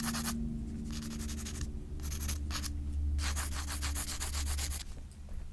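A pencil shades a portrait on a page of a spiral-bound paper sketchbook lying flat. Bursts of quick, scratchy back-and-forth strokes rasp brightly across the paper, separated by short pauses, over a steady low hum.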